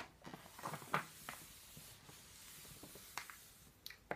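Fingertips and palms smooth and rub the thin paper pages of a thick paperback phone book flat, a solid stack lying open on a wooden table, and then turn them. Quiet, soft papery rubbing and whispery friction are broken by several crisp, bright rustles and flicks as the pages move, each fading almost at once.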